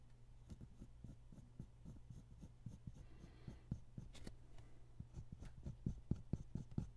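A ballpoint pen held in the fingers scratches steady drawing strokes across a single flat white paper sheet lying on a wooden table, with the other hand resting on the sheet. Quiet, short, dull scratching strokes tick along irregularly over a steady low hum, with a brief brighter rustle partway through. The strokes grow slightly louder and sharper toward the end.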